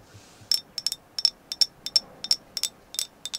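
An agate stone carved as a moon goddess is tapped continuously in a quick, uneven series of short, bright clicks, often falling in close pairs. Each tap is crisp and high-pitched with a faint glassy tone and almost no low end, dying away almost instantly into quiet between strikes.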